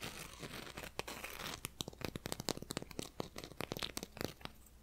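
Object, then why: Gingerbread cookie. A small, flat, solid gingerbread cookie held up in both hands is scratched and tapped with long nails and fingertips. A steady dry scratching rasp comes first, then gives way to a quick, uneven series of sharp, bright clicking taps on the hard cookie surface.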